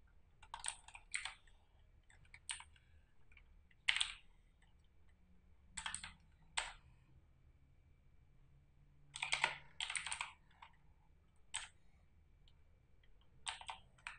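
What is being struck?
Plastic mechanical keyboard.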